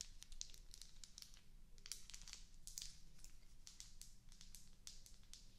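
A small solid white wax cube candle with rounded bubble bumps is held in the hands close to the mic while long acrylic nails tap and scratch over its bumps. Quick, dry clicks and scratchy crinkling come through bright and high over a low, soft hum.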